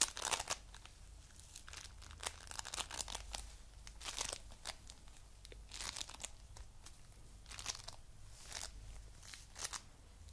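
A palm-sized, coral-pink heart of foam bead clay is squeezed and pressed with the fingers. It makes soft, bright crunching and crackling bursts over a faint low hum. The crunches come in slow, repeated presses.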